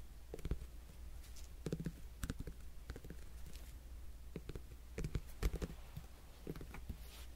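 A whole cantaloupe-type melon with a netted rind, solid, held beside the mic, is tapped and scratched with fingertips and nails. Soft, dull taps and short scratchy clicks come in irregular clusters over a steady low hum. The sound is muffled and close, with very little high content.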